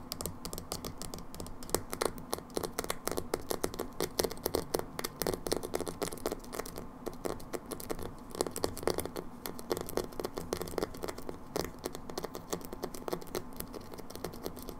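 A small round plastic hair dye jar with a black lid and label is held in the hand and tapped and scratched with long nails. The result is a steady stream of quick, dry clicks and scratchy scrapes with a low-mid body and no ring.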